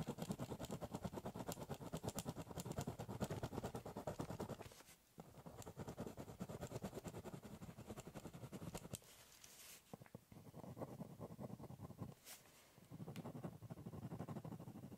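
A ballpoint pen scribble-shades across the top surface of a large, hollow, brown corrugated cardboard box. The rapid back-and-forth scratching strokes give a dry, papery rasp with a low, hollow drumming from the box. The strokes come in bursts separated by brief pauses near 5, 9.5 and 12.5 seconds.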